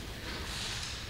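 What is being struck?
Nothing is struck.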